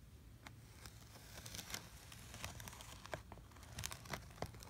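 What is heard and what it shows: A plastic cutting wheel is rolled through brown kinetic sand slabs in a blue plastic tray, slicing the sand into blocks. The sound is a quiet, continuous soft crunching and crinkling over a low rumble, with brief bright clicks and crackles scattered throughout.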